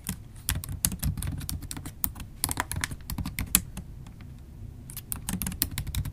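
Long acrylic nails type rapidly on a MacBook Pro keyboard, tapping its black plastic keys set in an aluminum laptop body. Quick, dry clicks come in bursts over a low thud, with a brief lull near the end before the typing picks up again.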